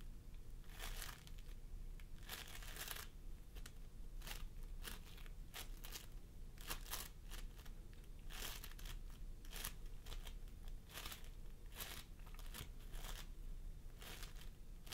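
Fingertips of both hands press and squish a pastel mound of floam sculpting foam made of polystyrene beads on a wooden table. Repeated bright, crackly crinkling bursts come one after another over a steady low hum, producing a continuous sticky, beaded crunching texture.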